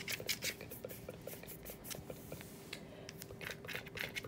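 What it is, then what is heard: Plastic TV remote tapped with nails. Long acrylic nails tap and click rapidly on the rubber buttons and hollow hard plastic casing of a handheld hospital bed TV remote (pillow speaker) lying on a bed sheet. The result is a quick, bright patter of short, dry clicks and light scratches over a faint steady hum.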